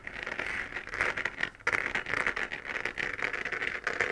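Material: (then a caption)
Plastic. Long dark-painted nails scratch the textured crater surface of a lit, hollow 3D-printed plastic moon-lamp sphere, about 15 cm across and held in both hands. The result is a dense, dry, crackling scratch concentrated in the upper mids around 2 kHz with bright hiss and almost no low end, broken by a brief pause at about 1.6 seconds before it resumes.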